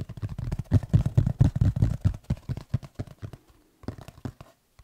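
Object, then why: Textured tablet folio case. Fingertips tap and scratch the textured cover of a black tablet folio case tilted in the hands, making a quick, irregular run of soft, muffled thumps and light scratches. The sound is dull and low, with almost nothing bright, and each tap dies away instantly. It thins into sparser taps with brief silent gaps toward the end.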